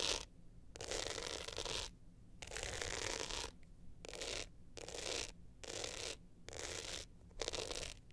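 Long nails scratch the glitter face and metal frame edge of an upright hard-shell glitter clutch, producing repeated bursts of bright, rasping scratching separated by short silences. The scratches are quiet and hissy, with most of their energy in the high range.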